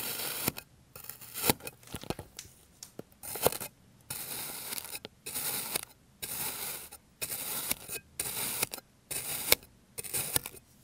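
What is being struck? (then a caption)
Kinetic sand slab cut with a plastic blade. A clear plastic blade cuts a rounded, solid slab of green kinetic sand resting on an orange surface, first into slices and then crosswise. Each pass gives a short burst of bright, grainy scraping and crunching, mixed with sharp clicks, separated by quiet gaps.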